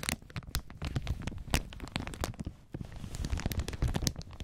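Gloved fingertips scratch, rub and crinkle a loose, clear plastic protective film lying over the black panel of an audio mixer. The result is a dense run of crackly, tearing-like rustles with bright sharp snaps, over a heavy low-end rumble. There is a brief quieter dip near the middle.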